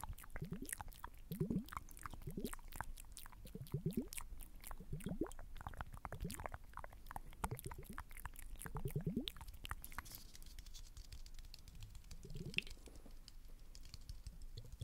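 Fingertips and nails tap and scratch the surface of a small, round, liquid-filled glass facial ice globe filled with blue liquid, held in one hand close to the mic. The result is a quiet, dense stream of soft taps and brushing scratches, with low, muffled thumps and short rising swoops under bright, crisp clicks. The sounds die away almost instantly.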